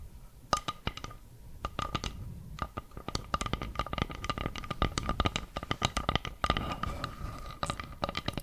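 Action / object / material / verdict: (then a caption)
tap / round flat bamboo board tapped and scratched with fingernails / bamboo / none. Long nails tap and scratch the surface of a round, flat, solid bamboo board held close to the mic. The result is a quick, uneven run of dry, clicky taps with scratchy, crunchy texture between them. Each tap has a soft low thump and a faint, steady mid-pitched tone beneath it.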